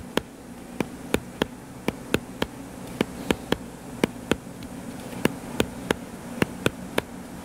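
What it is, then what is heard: Paperback book. Fingertips tap and scratch the cover of a solid, purple-covered paperback book lying flat. About nineteen short, sharp taps ring out over a soft scratching hiss and a steady low hum. Each tap is crisp and dies away almost instantly.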